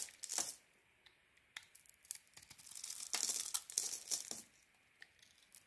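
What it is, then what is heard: Bar of soap being carved. A solid grey-and-white Penaten soap bar held in the hand is shaved and carved with a small metal blade, thin flakes curling off. Quiet, bright scraping and crisp tearing strokes come in bursts, with a denser run of shaving in the middle before it trails off into short scrapes.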